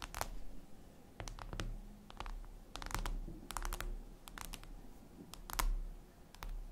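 Long acrylic nail tips tap and scratch across a flat, solid, reflective glass mirror tabletop surface. Quick, sharp clicks come in irregular clusters, with brief scraping in between, over a low, steady background rumble.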